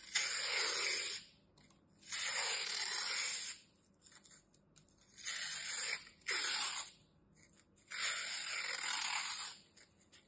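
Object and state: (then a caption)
Floral foam block being cut. A metal utility knife slices a solid, dry green floral foam block into thin strips, cutting and scraping through it in five separate strokes. Each stroke is a bright, hissy scrape with a crisp tearing texture, separated by near-silent pauses.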